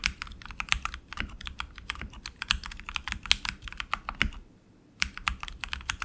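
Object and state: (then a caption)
Mechanical keyboard typing. Both hands type continuously with their fingertips on a tenkeyless RGB mechanical keyboard with tactile switches and plastic keycaps on an aluminum frame. Dozens of sharp, bright clicks and clacks follow rapidly, with a soft low thump under each. They pause briefly near the end before resuming.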